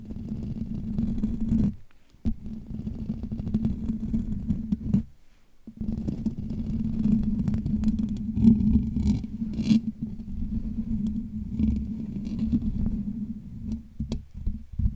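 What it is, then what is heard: Metal microphone mesh grille. Fingertips and short nails of both hands scratch and rub the hollow steel wire-mesh grille of a desk-size Blue Yeti USB microphone. The close, dense scraping has a strong low rumble and a steady tone near 227 Hz, with a few brighter scratches. It stops briefly around 2 and 5.5 seconds before resuming.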